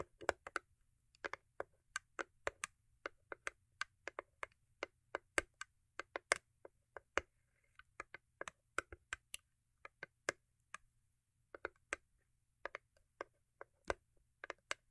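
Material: Cardboard.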